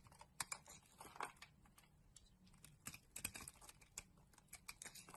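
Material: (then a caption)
Soap. A utility knife blade scrapes and carves flakes from a solid green bar of soap embossed "Malizia" held in the hand. Quiet, sharp, crackly ticks and short dry scrapes come in irregular bursts, bright and crisp with almost no ring, over a faint low hum.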